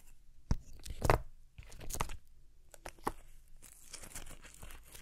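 A single fresh, pale green, hand-sized napa cabbage leaf is crumpled, bent and torn by fingers with long painted nails. Crisp, crunchy tearing and crackling bursts come in irregular clusters, with sharper snaps among softer crinkling. By the end, a smaller torn piece of the same leaf remains.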